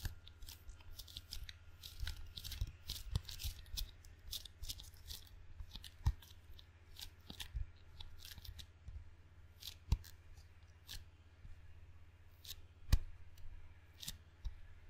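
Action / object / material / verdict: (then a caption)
tap / rubber-faced wooden table tennis paddle / rubber / none. Fingertips make sticky, tacky taps on the black rubber face of a table tennis paddle with a solid wood blade. Dozens of short, dry, crackling peels and clicks with bright upper edges sound over a steady low hum, with a few sharper, louder taps standing out. Each tap dies away almost instantly.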